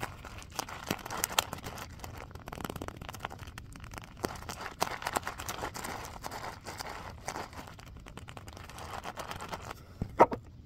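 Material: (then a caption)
Vinyl. A small purple faux-leather (vinyl) filled pouch is held in both hands and scratched with fingernails. The result is a steady, crinkly scratching with many quick, dry clicks and rustles, ending in one louder, sharper scrape.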